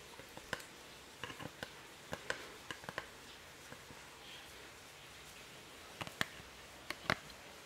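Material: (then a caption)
MDF wood. Fingertips and nails tap and scratch a small, thin laser-cut MDF wood souvenir napkin holder engraved "Maceió AL," with an open fretwork top, held in the hands. Thirteen short, dry, bright clicks and ticks come at irregular intervals over a quiet hiss, each dying away almost instantly, with soft scratching between them.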